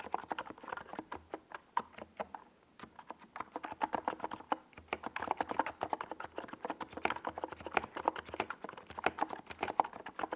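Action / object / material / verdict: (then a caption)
tap / plastic mechanical keyboard with SA keycaps / plastic / none. Fingertips of both hands type on a compact 68-key NiZ Plum Atom 68 mechanical keyboard with a white plastic case and tall purple and yellow Domikey Gas Attack SA plastic keycaps, resting on a desk pad. Quick, steady runs of short, hollow, mid-pitched clacks follow one another, with only a brief lull partway through. Each keystroke dies away almost instantly.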